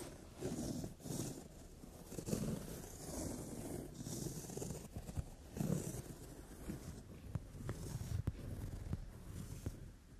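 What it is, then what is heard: Leather sofa seat. Long French-tip nails tap and rub across a brown leather padded sofa seat. Soft, low, muffled thumps and scuffing swishes come first, then a run of sharper, brief taps on the leather toward the end.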